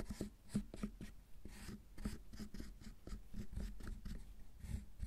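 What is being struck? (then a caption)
Milk chocolate bar scraped by a metal loop tool. A metal loop carving tool scrapes shavings off the surface of a solid milk chocolate bar. Short, quiet scraping strokes repeat in quick succession, each a dry rasp with a faint bright edge over a mostly low, soft body, fading almost at once.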